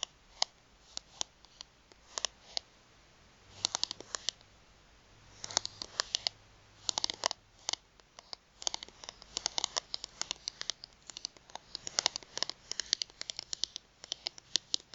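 Long nails tap and flick the edges of a thin, solid plastic gift card held between both hands. Quiet, sharp, bright clicks and ticks come in scattered single hits and quick scratchy bursts, each dying away instantly with no low rumble.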